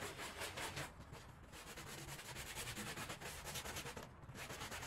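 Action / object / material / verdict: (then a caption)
scrape / woven rug / wool fibre / none. A gloved hand scrubs a small, soaked and soapy patterned woven rug lying flat on the floor with a handheld brush. The back-and-forth strokes make a steady, bright, wet rubbing and swishing sound with rhythmic swells.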